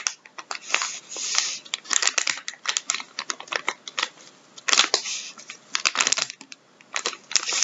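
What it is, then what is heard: Plastic-wrapped tissue pack. A medium-size, filled, soft blue plastic-film packet of Andrex wipes or tissues, lying on a wooden table, is squeezed, crinkled and rubbed with latex-gloved fingertips. It gives a dense run of bright, crackly crinkles: sharp short snaps mixed with longer rustling swishes, separated by brief quiet pauses. There is no low end.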